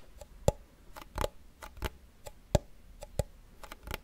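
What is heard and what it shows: A small hollow wooden cigar box with a printed paper label is held close and tapped with fingernails, about 13 quick, uneven taps. Each tap is a short, dry knock with a low hollow body and a bright click on top, dying away almost at once into quiet.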